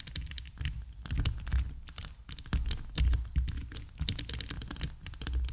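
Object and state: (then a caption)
Rhinestone-covered microphone tapped with nails. Long acrylic nails tap, click and scratch over a hand-sized, hollow microphone whose body is covered in rows of clear heart-shaped plastic rhinestones. Dense, quick clicks with bright ticks ride over a heavy low thumping, the sound swelling and fading in uneven bursts throughout.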